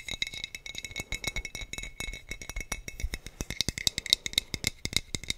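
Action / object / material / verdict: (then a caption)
tap / glass bottle / glass / none. A clear, hollow glass sangria bottle with a teal screw cap and a colorful printed label is held in one hand and tapped with the fingertips and short nails of the other. The result is a rapid, uneven stream of many light, dry clicks with a bright, high glassy ring.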